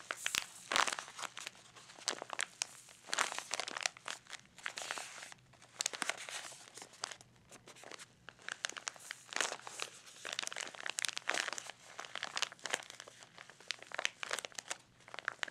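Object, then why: Small clear plastic pouch with cardboard backing. A small clear plastic blister pouch with a cardboard backing is held in the fingers over an open box and crinkled, squeezed and rubbed with the fingertips. The result is dense, bright, crackly crinkling in rapid bursts of sharp, dry clicks with almost no low end and no ring after each crackle. It rises and falls in waves of louder squeezes and softer rubbing.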